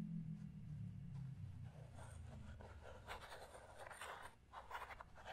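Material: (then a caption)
Plastic. A small transparent plastic puzzle cube with stickers is handled up close, with fingernails scratching and tapping its surface and hands twisting its layers. A low steady hum fills the opening, then soft scratchy rustles and brief crisp clicks rise through the middle and end.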